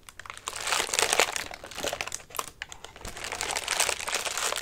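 Fingertips and nails scratch and crumple the thin paper of a large orange paper lantern with wire ribs, hollow and partly collapsed. The result is a dense, bright crinkling and crackling with almost no low end, rising in two louder swells separated by a brief dip.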